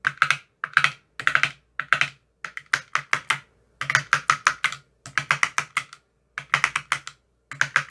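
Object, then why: Plastic ice cube tray with silicone cups. A thin metal rod taps rapidly in the cells of an empty clear plastic ice cube tray with green silicone cell bottoms. Quick bursts of dry, clicky taps with bright highs and almost no low end come in short rhythmic runs separated by brief pauses. Each tap dies away almost instantly.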